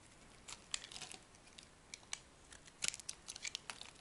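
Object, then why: Bar of soap cut with a small metal blade. A small metal knife blade cuts and shaves a hand-held, palm-sized, dry and soft solid pink-and-white striped soap bar, curling off thin slices. The result is a quiet series of short, bright, crisp crackling and scraping ticks at an irregular pace, with almost no low end and no ring after each cut.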